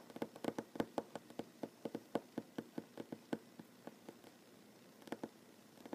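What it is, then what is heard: Wooden tabletop tapped with fingernails. Short fingernails of one hand tap on a solid wooden tabletop, giving a quiet run of quick, irregular taps, 23 in all. Each tap is a short, dry click with a warm mid-range knock near 270 Hz and almost no ring. The tapping pauses briefly around four to five seconds, then resumes in a light flurry.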